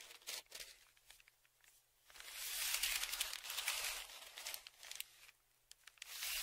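A thin dark tool is scratched and dragged along the crinkled surface of a large, flat brown kraft paper padded mailer, which lies on a table and is held down with one hand. Short, dry, bright scratches open the clip. A longer, louder stretch of crackly scraping and crinkling follows, then it quiets and resumes near the end.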